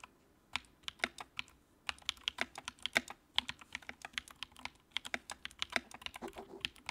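Fingertips type on the keycaps of a compact white plastic mechanical keyboard with a backlight. The result is a quick, uneven run of sharp, bright clicks and clacks that stop almost instantly, with soft thuds underneath and quiet gaps between bursts.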